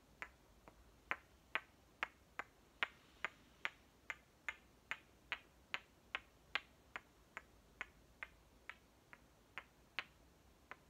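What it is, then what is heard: Plastic toy watermelon halves clicked together. Two hollow green plastic halves of one small toy watermelon, one held in each hand, are knocked and clicked together 24 times at a slightly uneven pace of about two per second. Each hit is a short, dry, bright click that dies away almost instantly, over a quiet, steady background hiss.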